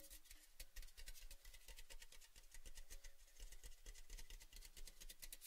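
A tall, hollow, empty orange-red cylindrical metal Baileys gift tin, with the bottle taken out, is held in both hands and rubbed and scratched along its side with fingertips and nails. Dense, quick bright scratches and taps crackle over a low hollow hum, with short dry decays.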